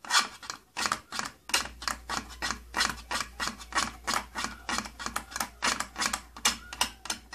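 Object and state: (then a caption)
Plastic case tapped with fingernails. Fingertips and nails tap and scratch the flat, hollow side panel of an opened purple plastic tattoo kit case. Quick, bright, dry taps come in an uneven stream with little ring. A faint low hum sits underneath from about the middle of the second second onward.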